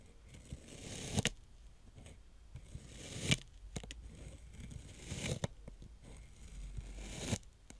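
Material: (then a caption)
Sand. A plastic toy roller's spikes are pressed into a flattened layer of brown kinetic sand, punching rows of holes. Soft, crunchy pokes come in repeated swells of grainy, bright hiss, each ending in a sharper crackling crunch before easing back to quiet.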